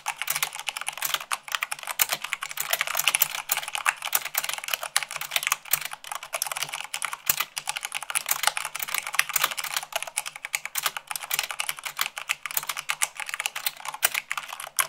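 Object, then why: Plastic mechanical keyboard. Fingertips and long nails type rapidly, at about 98 words per minute, on a white plastic mechanical keyboard. A dense, steady stream of short, bright clicks and clacks fills the clip, with almost no low end and no ringing after each keystroke.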